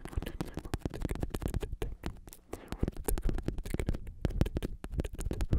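A black padded bicycle saddle with a synthetic leather cover, red trim and a plastic shell is held on its side in one hand. Fingertips and nails scratch and tap on the cover. The result is a dense run of short, dull, low thuds with soft scratchy rustle between them.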